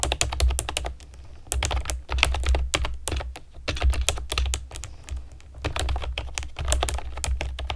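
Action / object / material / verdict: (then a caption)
tap / plastic keyboard with round keycaps / plastic / none. Long nails and fingertips type on a pastel plastic keyboard with round keycaps, making rapid, bright, clicky taps in quick bursts. Each tap is sharp and dies away instantly. The bursts are separated by brief pauses over a steady low hum.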